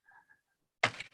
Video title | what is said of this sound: WPI Materials & Manufacturing Seminar: Zhu Mao | to figure out if there's a delamination or pothole or early stage of a pothole right you'll hear it if that sounds solid or that sound hollow